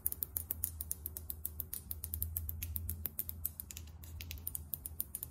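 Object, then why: Small filled glass foundation bottle with plastic cap. Long acrylic nails tap rapidly and irregularly on a small, filled Sephora Best Skin Ever foundation bottle, a frosted bottle with a matte taupe plastic cap. About forty sharp, bright clicks die away almost instantly over a steady low hum.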